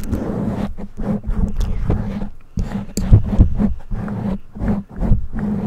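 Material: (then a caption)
Foam. Long nails scratch and rub the top and sides of a black foam windscreen on a condenser microphone. The result is a dense, low, muffled rustling and rumbling with repeated scratchy bursts, carrying a steady low hum underneath and almost no high end.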